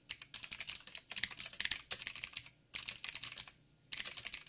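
Fingertips of both hands type in quick bursts on a backlit mechanical keyboard with black plastic keycaps on a silver frame and a hollow housing. Bright, clicky taps come in rapid flurries separated by brief pauses, each hit short and dry with almost no low end.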